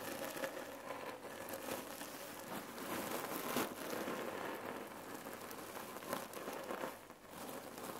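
Long nails tap and scratch the fabric of a red cotton neck pillow filled with cherry pits, lying flat. A steady, dense crinkling and gritty rustle runs throughout, with faint shifting rattles of the pits inside. The sound is soft and mostly midrange, with little low end.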